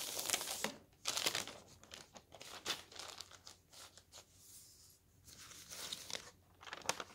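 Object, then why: Thin paper newspaper pages. Both hands lift, roll and flip thin newspaper pages, making the paper crinkle. Bright, crisp rustles and crackles come in irregular bursts, louder at the start and end, with quieter rustling and brief near-silent gaps between them.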